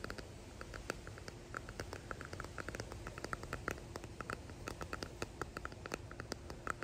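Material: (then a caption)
Resin. A small clear resin hexagon box with pressed flowers embedded in it is held in both hands and tapped and scratched with fingertips and nails, with rings visible on the fingers. A quiet, steady run of quick, light taps and clicks comes through, each with a short, bright plasticky tick around 1.3 kHz over a soft, scratchy low hiss.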